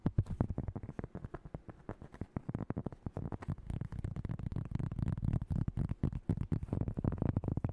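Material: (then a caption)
Cork. Fingernails rapidly tap and scratch across the surface of a large round cork coaster held close to the microphone. The dense, fast taps are dull, short and muffled, with almost no bright edge. A low, scratchy rumble fills in beneath them and grows fuller and steadier in the second half.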